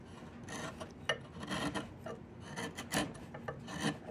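A wood-handled chisel scrapes and carves the surface of a long, solid diamond willow walking stick with diamond-shaped knots. Repeated dry, rasping strokes come in short bursts, some with sharper bright clicks as the blade catches. Each stroke cuts off quickly with almost no ring.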